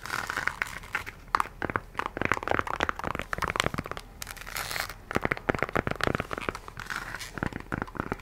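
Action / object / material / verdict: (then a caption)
scrape / synthetic rubber shoe sole on a heeled sandal / synthetic rubber / none. Long nails scratch the brown patterned synthetic rubber sole of an empty nude high heel and tap on the heel. The result is a quick run of dry, crinkly scratches and sharp little clicks with almost no ring.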